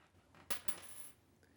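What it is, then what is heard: Dropped penny. A penny is dropped onto a washroom floor to compare with an earlier noise thought to be a coin or a coat button. It lands with a bright, high metallic clink, bounces for a second clink, and gives a faint final tick as it settles, with a short high ring.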